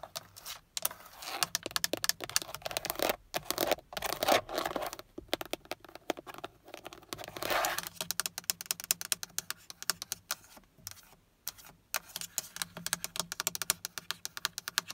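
Long acrylic nails tap fast and scratch across the black textured plastic airbag cover, a hollow shell with a chrome Toyota badge, in the centre of a Toyota Prius steering wheel. Rapid, crisp, bright clicks come in dense bursts with brief pauses, mixed with short scratchy scrapes. Each tap dies away almost instantly with little low-end body.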